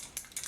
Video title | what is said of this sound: Temptu Airbrush System - Review and First Impression | You can hear there's a little bead in there to help mix the product around.